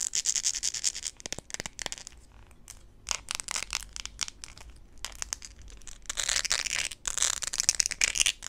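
Long pink acrylic nails scratch and tap a hand-held blue rubber or plastic flip-flop sandal with gold studs and a solid, flexible sole. The result is bright, crisp, high-pitched scratching in dense bursts with quick dry taps, quieter in the middle and busier again near the end.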